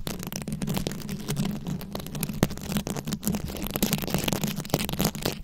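Very long acrylic nails scratch a round, fist-sized microphone head covered in plastic rhinestones and beads. The result is a dense, continuous crackling and clicking texture spread across bright highs, sitting over a steady low hum and rumble at a fairly even level throughout.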